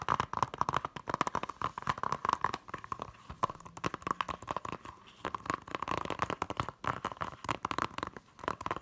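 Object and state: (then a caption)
Plastic Blu-ray case. Long nails and fingertips tap and scratch the front cover of a small, flat, hollow blue plastic Hunger Games Blu-ray keep case. The result is a fast, continuous stream of short, dry clicks with a hollow plastic ring centered around 1 kHz, broken up by scratchy rustles and brief pauses.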